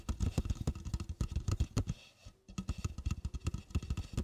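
An empty red plastic party cup, about 16 oz and hollow, sits upside down on a fluffy rug and is tapped and scratched on its side wall with long black-painted fingernails. Quick, irregular dull taps with a low hollow thud and scratchy bright edges come in two bursts, separated by a brief quiet pause near the middle.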